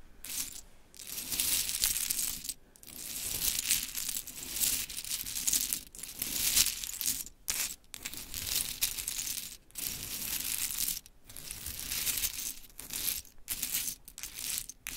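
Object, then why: Small wooden clothespins in a heap. Hands with long chrome nails gather and spread a heap of small pink mini wooden clothespins across a glittery cloth. The result is a steady, bright clattering and rattling of the little pegs, coming in dense bursts separated by brief silent pauses.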